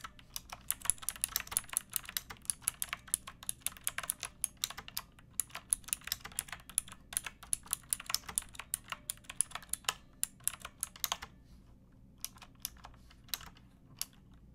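Fingertips with long painted nails type on a pink backlit plastic mechanical keyboard with round typewriter-style keycaps and a hollow case. Rapid, bright, sharp clicks with almost no ring run steadily, thin out after about 11 seconds, and end in a few scattered taps over a faint low background hum.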